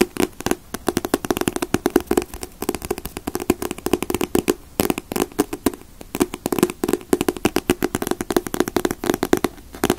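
Fingers tap rapidly on paper covers of paperback manga volumes, such as One Piece, Naruto and Bleach, in a dense, continuous pattern. Each tap is a short, dry knock with a hollow midrange tone around 350 Hz that fades almost instantly. The taps come in quick bursts with brief pauses between them.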